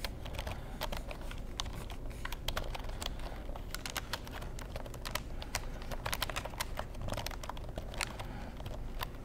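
Fingertips tap and type on the keys of a black plastic computer keyboard, making a steady, rapid stream of short, sharp, bright clicks that die away almost instantly. A low, constant hum sits underneath the clicking throughout.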